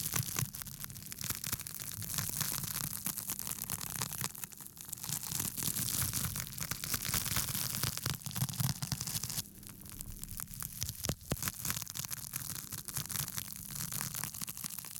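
Fingertips scratch across the rough surface of a small, flat, porous pink foam sheet held up in both hands. The result is a dense, continuous scratchy crackle with bright hiss over a steady low hum, rising and falling slightly in level throughout.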